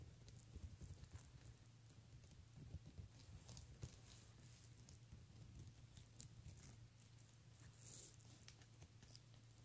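Fingertips and nails tap and scratch across a hollow, empty vintage handbag woven from pink opaque and clear faceted plastic beads, resting on a tablecloth. The quiet, dense patter of short clicks and light rattles sits over a steady low hum, with occasional brighter ticks.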